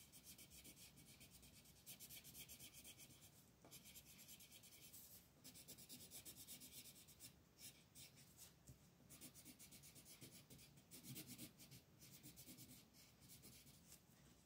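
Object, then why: Colored pencil on a thin paper page over a wooden table. A green wooden colored pencil rubs and scratches across a thin paper coloring book page lying flat on a dark wooden table, held down by one hand, while coloring small leaves. Steady, bright, scratchy rasping comes in quick back-and-forth strokes over a soft low rumble, with brief quieter pauses between bursts.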